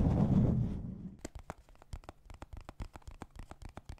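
A small, hollow, dark blue hard plastic deck case, possibly holding cards, is tapped on its faces with fingertips and nails. A low, muffled rumbling rub fades over the first second, then about twenty quick, dry clicking taps follow in an uneven rhythm.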